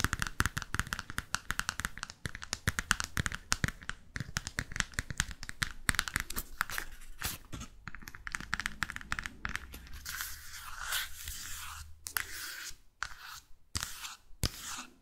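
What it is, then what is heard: Paperback book cover tapped and scratched with nails. Long fake nails rapidly tap the glossy paper front cover of a small paperback London travel guide held upright in both hands, giving quick, dry, crisp clicks. Toward the end the nails scratch across the cover with a bright, rough hiss, broken up by a few final taps.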